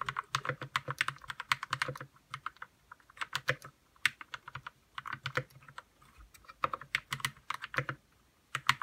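Fingertips type on a white RK61 60% mechanical keyboard with plastic keycaps, lubed red switches and a hollow plastic case. Quick runs of short, bright clacks with a faint hollow thock come in bursts, separated by brief pauses around two, four, six and eight seconds. Each keystroke stops almost instantly, with no ring.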